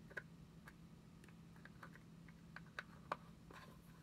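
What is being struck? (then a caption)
Small plastic cream jar. A small round white plastic Nivea cream jar is held in the hand and lightly tapped and scratched with long nails. Irregular, quiet, short clicks with a bright edge sound over a low steady hum, with a few louder taps standing out.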